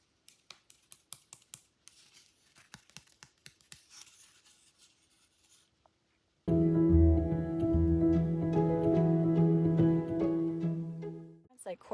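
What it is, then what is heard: Dried drywall joint compound, hard. Dried drywall joint compound caked on hands is tapped in a quick, steady series of light, sharp clicks that show how hard the mud has set, hard as concrete. After about six seconds, loud music with deep bass and sustained tones takes over until the end.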